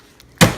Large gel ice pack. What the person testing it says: these are still frozen. Like, do you hear that? Like frozen solid.